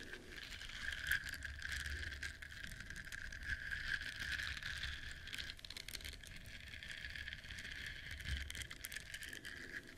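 A flat yellow silicone duck-shaped scrubber with bristles, held in both hands, is scratched with long nails. It produces a steady, dense, bristly rasping with a bright hiss and a sustained whistling tone near 1.6 kHz over a faint low rumble, staying fairly even in loudness throughout.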